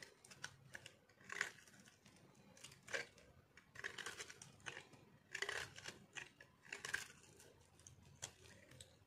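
A metal blade cuts and scrapes brittle shavings off a solid, dried white soap bar held in the hand. Quiet, irregular bursts of dry, crisp crunching and scraping with a bright, crackly edge, separated by soft rustling.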